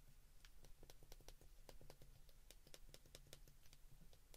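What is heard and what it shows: Fingers slowly press the number keys on a white plastic flip phone held in the hands, making a steady run of short, dry plastic clicks with bright tops. The clicks stop sharply with almost no ring, over a quiet, constant low hum.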